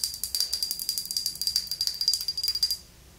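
Long nails tap rapidly on a medium red glass skincare mist bottle filled with red liquid, with a silver cap, held in both hands. About twenty quick, bright clicks run for nearly three seconds over a thin, steady high ring from the glass, then stop, leaving faint quiet.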